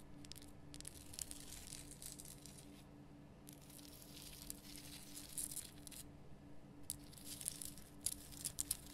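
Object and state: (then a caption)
Himalayan rock salt lamp. Long nails scratch the sides and top of a large, lit pink Himalayan rock salt lamp made of solid rough salt. Bursts of dry, bright scratching and crackling come and go in patches, with a few sharper ticks near the end. A steady low hum sits underneath throughout.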